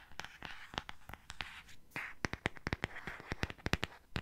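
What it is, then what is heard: Cardboard hardcover book. Fingernails scratch and tap the glossy cardboard cover of a solid purple hardcover book held in the hands. Rapid, irregular, sharp clicking taps with a quick decay and bright edges alternate with soft, brushing scratches in the upper mids.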